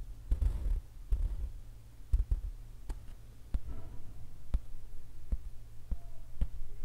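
A fingertip, then several fingers, tap and scratch the surface of a large, taut, acrylic-painted stretched canvas on an easel, its hollow back resonating like a drum skin. Eleven short, dull thumps sound, with a deep drum-like body that dies almost instantly, mixed with soft scratching. A low steady hum runs underneath throughout.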